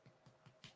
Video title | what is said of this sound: Panda Productions - Sunday 4th August ive | when it comes out, it sounds hollow. If it sounds dull, then it's not baked, and that's your soggy bottom.